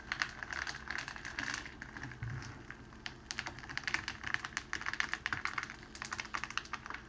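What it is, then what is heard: Cellophane sheet crinkling. Fingertips and palms press and roll a long, rolled sheet of clear cellophane wrapping on a table. It makes a steady stream of crisp, bright crinkles and sharp little cracks that die away almost instantly. The crackle runs for about seven seconds, with louder bursts near the start and through the second half.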